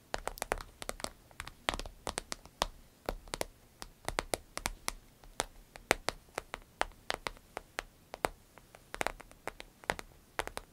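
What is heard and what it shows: A medium green striped glossy vinyl zip pouch, empty, rests on a table while long acrylic nails tap and scratch across its surface. Quick, dry, bright clicks come in dense irregular bursts with soft crinkling scratches between them, like rain pattering on plastic.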